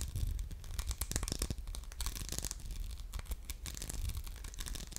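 Short nails scratch the grid-textured surface of an orange glass soap dispenser with a metal pump, held in the hand. The result is a steady run of quick, dry rasping scratches over a low, dull rumble.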